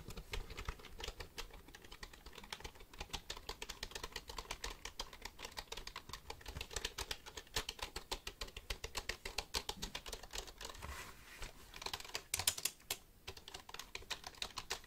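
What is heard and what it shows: A black plastic computer keyboard is held vertically close to the mic while fingertips tap and click its keys. About 90 short, dry, bright plastic clicks come in a steady, quiet stream, centered around 3 kHz with little low end. Each click dies away almost at once.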